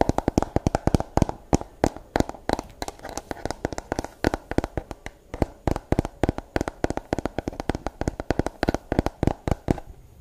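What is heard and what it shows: Long blue nails rapidly tap the hollow curved shell of a pink plastic brush with a sticker on the back, and scratch its bristles. The result is a fast, irregular stream of sharp, dry clicks with almost no ring. Soft scratchy rustling sits between them, and the pace slows slightly near the end.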